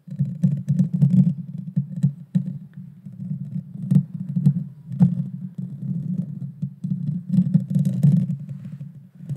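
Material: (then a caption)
Metal mesh. Long dark fingernails scratch the small, hollow, round metal mesh grille of a Blue Yeti Nano microphone. The result is a dense, low, muffled rumbling scrape that swells and fades in bursts, broken by quick sharp clicks and faint bright crackles.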